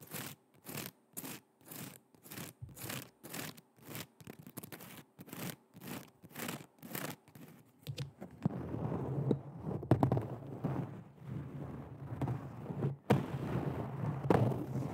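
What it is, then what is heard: Woven heeled shoe, tapped and scratched. An empty silver woven or textured synthetic heeled shoe with a tan insole is held in the hands and tapped and scratched with long red nails. For the first eight seconds, short, rhythmic, brushy scratching strokes repeat with brief gaps between them. After that, a denser, continuous low scraping rustle takes over, broken by a few sharper taps.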